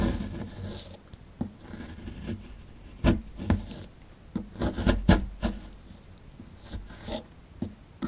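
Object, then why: Plaster excavation block. A dark plastic chisel scrapes and rasps at the right edge of a small, solid, rectangular plaster fossil-excavation block held in hand, crumbling the plaster into powder. Dry, gritty scraping strokes and short sharp scratches are heard, mostly low and dull with little brightness. Several louder bursts stand out among the quieter rasping.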